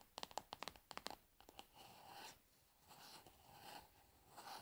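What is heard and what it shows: Long nails tap and scratch a plastic cosmetic pad jar, held tilted forward, working over its frosted translucent bottom and labeled side. About a dozen crisp, quick taps come first, followed by softer, rasping scratches with a bright hiss and a mid-range tone around 800 Hz.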